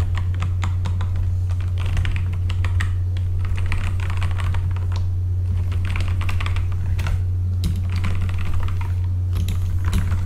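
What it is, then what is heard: Mechanical keyboard with plastic keycaps. Both hands type with their fingertips on a full-size backlit mechanical computer keyboard with plastic keycaps. A continuous stream of quick, bright clacks runs throughout, with brief pauses between bursts. A steady low hum sits underneath the whole time.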